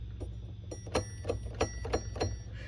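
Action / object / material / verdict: flick / metal telephone ringer bell / metal / none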